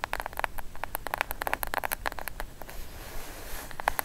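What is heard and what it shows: Long acrylic nails tap quickly across a plain brown, medium-sized, hollow, closed kraft cardboard box as it lies flat and is then lifted upright. Dry, hollow clicks centered around 800 Hz fill the first two and a half seconds, then give way to a softer, hissy scratching along the surface and top edge, with a few final taps at the end.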